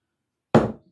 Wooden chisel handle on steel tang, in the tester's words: can you tell how that sound changed? Very dead sound. That means it's fully seated down.